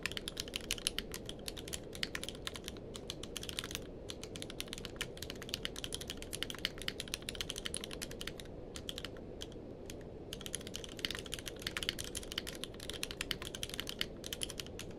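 Fingertips of both hands type fast on a tenkeyless mechanical keyboard with a blue-grey case and white and grey plastic keycaps, resting on a blanket. Dense, bright, short clacks run over a steady low rumble, with brief pauses near 4, 9 to 10, and 14 seconds.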